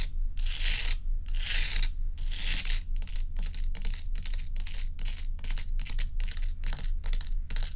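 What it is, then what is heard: Block of ice scratched by fingernails. Long pointed nails scratch and tap the frosty surface of a large, solid, dome-shaped ice block resting on a dark towel. Three slow, drawn-out bright scrapes give way to a quicker run of short, crisp scratching strokes in a steady rhythm. A constant low hum runs underneath throughout.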